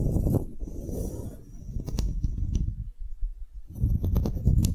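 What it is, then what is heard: Solid wooden block tag. A solid engraved wooden block tag is scratched and tapped with fingernails and fingertips. Dense, low, rumbling scratches fill the clip, broken by sharp bright clicks from the taps, with a brief quieter gap before the scratching returns.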